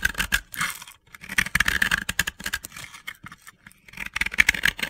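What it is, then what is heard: Dry crumbly bath bomb being carved. A utility knife blade scrapes and carves powdery layers off a hand-sized, solid yellow and pink crumbly soap ball (a dry powdery bath bomb) held in hands with long red nails. Bursts of dry, gritty, crunchy scraping come in quick bright strokes, separated by short quiet pauses.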